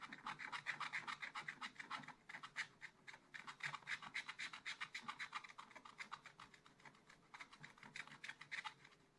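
A wooden stylus scratches dense hatching across a black-coated scratch art paper page in a small spiral pad lying flat, working over a bear figure. It makes quick, uneven rasping strokes with a bright, papery hiss, peaking in loudness through the middle and trailing off softly at the end.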